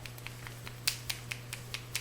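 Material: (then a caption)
Metal. A pen of silver conductive paint is shaken so its loose mixing ball slaps around inside, mixing the silver particles into the paint. About ten quick, bright clicks come at an even rhythm, growing louder partway through, over a steady low hum.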